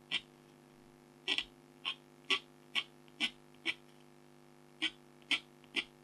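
A red-handled stylus scratches fur lines on a tiger's chest in a flat, thin, black-coated scratch art card while the other hand holds the top. Eleven short, bright scratching strokes come at an uneven pace, each dry and quickly fading. A faint steady low hum sits underneath.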